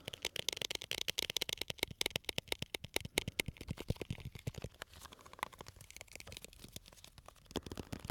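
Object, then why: Small glass jar filled with candies. A small labeled glass jar full of colorful candies is held close to the mic and tapped and scratched with fingernails. A rapid, uneven stream of sharp, bright clicks and ticks is heard, mixed with soft scratching. Each tap dies away almost instantly.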